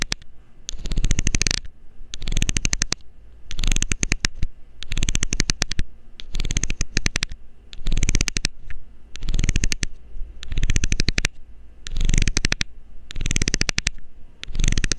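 A metal needle scrapes the ridged edge of a loose, hollow blue plastic screw cap in repeated bursts about a second long, separated by brief pauses. Each burst is a fast run of bright, raspy ticks, over a steady low hum.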